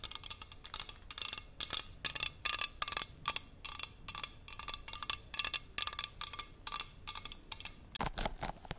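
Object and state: Aluminium water bottle tapped with nails.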